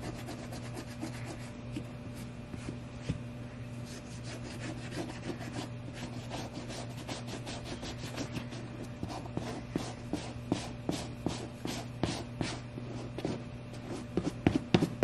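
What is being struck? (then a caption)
Suede sheepskin boot. A tan suede sheepskin Bailey Button boot lies on a towel while a small suede brush is rubbed along its surface. Quick, dry scratchy brushing strokes repeat over a steady low hum, with a few sharper strokes near the end.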